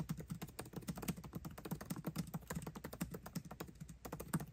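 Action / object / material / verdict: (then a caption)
tap / aluminium laptop keyboard with plastic keys / plastic / none. Both hands type fast with their fingertips on the backlit black plastic keycaps of a 13-inch aluminium MacBook Pro laptop keyboard, tapping the keys continuously. The result is a steady, rapid stream of soft, dry, low-pitched clicks that stop almost instantly, with little bright content.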